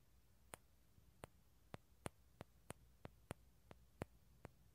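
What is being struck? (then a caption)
Dried bottle gourd shell. Fingertips and nails tap and scratch the light tan shell of a small, hollow, halved dried bottle gourd held in both hands near a stereo recorder. Eleven short, dry, bright clicks sound at irregular intervals, each dying away almost instantly over a quiet, low hiss.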